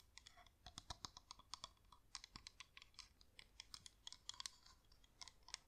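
A hand-sized yellow flameless LED pillar candle, with a wax-like shell, a hollow top and an LED glowing inside, is held in one hand and tapped with long manicured nails. It makes a quick, irregular run of crisp, bright clicks with almost no ring and very little low end.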